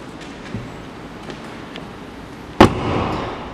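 The door of a 2019 Aston Martin DBS Superleggera prototype sports car is shut: a faint early knock, then one sharp, loud metal slam followed by a brief rumbling tail. The misaligned door does not close all the way and stays cracked at the top; pulling on it makes a metal-scraping sound. This is a prototype quirk to be fixed for production.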